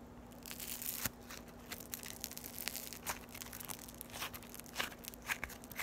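Yellow floam, foam beads in slime, is held solid and stretched and pulled between fingers with long white nails. It gives quick, bright crackling, tearing and crushing pops at an uneven pace over a faint steady low hum.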